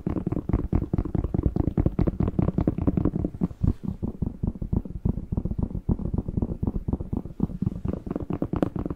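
A whole fresh, hollow red bell pepper is held in both hands in front of a microphone while fingertips and short nails tap, squeeze and scratch its waxy skin. About fifty quick, dull, hollow knocks follow one another steadily, with mostly low, thumping body, very short decay and soft scratchy friction between them. The taps sound slightly brighter in the first few seconds, then become more muffled.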